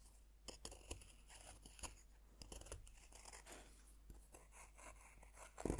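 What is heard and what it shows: A metal fork's tines scrape and scratch across a solid, dome-shaped pink bath bomb of pressed powder, which rests on a wooden board and is steadied by hand. Dry, gritty scratching comes in short, crisp bursts with bright, hissy texture over a low hum, ending in a louder crunchy scrape.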